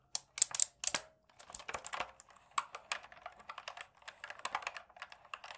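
Fingertips rapidly tap the keys at both ends of a black plastic, full-size mechanical gaming keyboard held in front of the body. A quick, uneven run of bright, dry clicks with no low end, each tap dying away almost instantly; the first few taps are the loudest.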